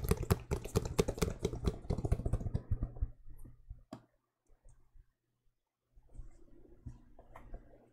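A white and mint sneaker with a leather upper and rubber sole, hollow and empty, is held up close in both hands and tapped and scratched with fingertips and nails along the upper and sole. Rapid, dense dull taps with a deep, low-heavy body fill the first three seconds, then thin out into a few scattered taps and a near-silent pause. Softer scratching and light tapping return near the end.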